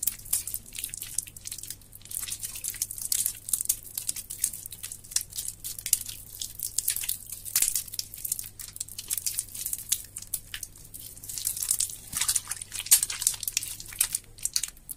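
A grey, water-soaked lump of mushy soap is squeezed and crumbled by hands over brown soapy water in a sink. Dense, bright, wet crackles and crinkly squelches come in quick, continuous bursts, with a faint low hum steady underneath.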